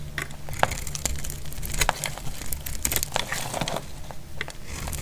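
A solid, dry red soap bar held in the hand is shaved with a metal blade into thin curls. Crisp, crackling scrapes and short bright clicks come in quick, uneven bursts over a steady low hum.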